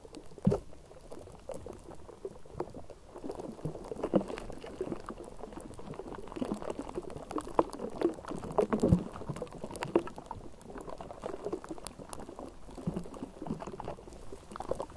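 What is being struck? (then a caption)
Wire-mesh metal microphone grille. Long manicured nails of both hands scratch the bare, uncovered wire-mesh metal grille of a Blue Yeti microphone, a hollow dome, throughout. The result is a dense, continuous crackling and rustling, mostly low and midrange with a bubbling, boiling-like texture. Sharper louder pops come near the start, around four seconds and around nine seconds.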